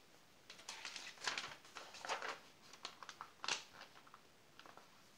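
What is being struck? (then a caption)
Glossy paper magazine page. A fingertip slides over the page of an open glossy paper magazine, the page is turned, and a palm rubs across the new spread. Quiet, bright, dry rustles and crinkly swishes come in short bursts, with the loudest sweep near the end before the sound fades to soft brushing.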